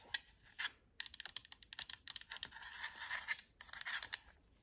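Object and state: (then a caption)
Plastic game controller. A black Xbox wireless controller with a hollow plastic shell is held in the hands and tapped and scratched with long acrylic nails across its body and buttons. Quick, dry, bright clicks and taps come in uneven bursts, broken by a short stretch of raspy scratching. There is no low end and almost no ring after each hit.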